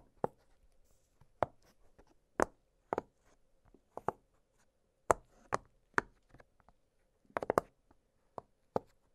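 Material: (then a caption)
Silicone. Fingertips press and pop the hollow bubbles of an octagonal blue silicone pop-it fidget toy lying flat on a glittery surface. A series of soft, short, dull pops with a slightly hollow midrange tone is heard, spaced irregularly, with a quick cluster near the end. Each pop dies away almost instantly into a faint steady hum.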